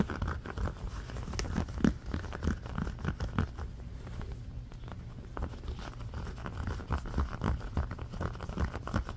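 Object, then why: Ribbed silicone trivet mat. A round, red, ribbed silicone trivet, thin and flexible and lying on a blanket, is scratched fast with the fingernails of both hands along its grooves. The result is a dense, muffled stream of quick scratching and crinkly ticks, mostly low and soft with little brightness, each stroke dying away almost at once. There is a brief quieter stretch midway.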